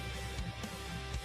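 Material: Nothing is struck.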